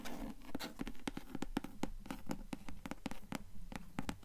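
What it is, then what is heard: Cloth-covered hardcover book. Long nails tap and scratch the blue cloth-covered front board of a closed hardcover book with a yellow spine lying flat on a table. Quick, irregular, dry taps with a soft low-mid thud fall over a faint, continuous scratchy rustle. Each tap dies away almost instantly.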